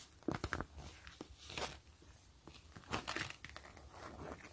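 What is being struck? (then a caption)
Clear PVC mesh zipper pouch. Long fingernails scratch and crinkle the surface of a flat, clear PVC grid pouch with a gray zipper, held in both hands. Quiet, dry scratching and crackling bursts come in clusters, with bright, hissy texture and almost no ring after each stroke.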